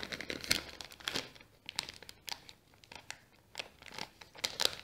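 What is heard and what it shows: A small brown kraft paper bag is folded and crinkled by fingers while fingernails scratch across the paper. The crisp, bright crackles come in quick bursts separated by short quiet gaps, with almost no low end and no ring after each sound.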